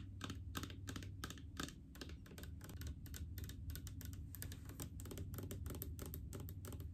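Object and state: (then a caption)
Plastic mouthwash bottle. Long painted fingernails rapidly tap a large blue plastic mouthwash bottle full of liquid. The result is a quick, steady stream of sharp, clicky taps with bright edges and short decays, set over a constant low hum.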